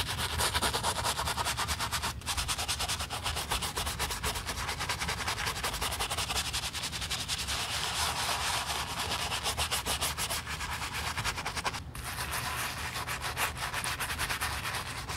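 A black leather stiletto high-heel pump, covered in foamy cleaner, is scrubbed with a wooden-handled bristle brush. Dense, rapid, bright scratching strokes run steadily for the whole clip, with brief pauses near 2 and 12 seconds.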